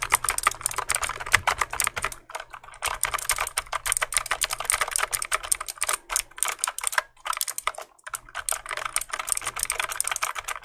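Fingertips rapidly press and click the keys of a full-size black plastic mechanical keyboard with a solid body and hollow-sounding switches, held up close to the mic. Dense bursts of sharp, bright clacks come in quick runs, broken by brief pauses around the 2, 7 and 8 second marks.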